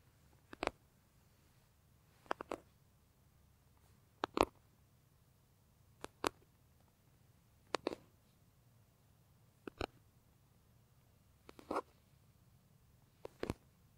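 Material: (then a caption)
Leather. Fingertips and nails scratch the smooth side of a large, soft, hollow brown leather bag with a center seam. Eight brief pairs of dry, bright scratching strokes come at a steady pace, each dying away almost at once, with near silence between them.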